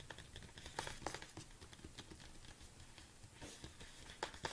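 Long nails tap quickly on the front and sides of a large red plastic BCAA supplement tub. The result is a quiet run of dry, irregular clicks with bright, crinkly edges that stop instantly with no ring, over a soft low background rumble.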